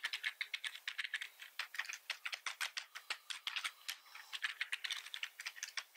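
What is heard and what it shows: Fingertips type and repeatedly press the keys of a black plastic computer keyboard with red keys. A rapid, irregular stream of short, bright plastic clicks and clacks is heard, with no low end and each stroke dying away almost instantly.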